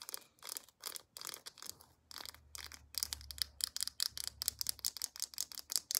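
Long acrylic nails tap and scratch the round flip cap and body of a white plastic lotion tube. Bright, crisp clicking and scratchy rasping come in short bursts that grow quicker and denser through the second half, with a faint low hum underneath.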